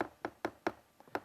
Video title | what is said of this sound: Tips on Inspecting Stucco and EIFS During a Home Inspection | It sounds kind of hollow. If it sounds hollow, that's a clue you may have an EIFS system.